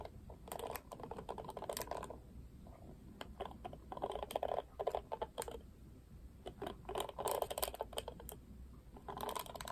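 Fingertips and nails strum the black plastic bristles of a pink plastic Barbie paddle hairbrush. The result is bursts of rapid, dry clicking and ticking that sit mostly in the midrange around 600 Hz, with sharp, bright flicks. The strumming comes in several runs separated by quieter pauses.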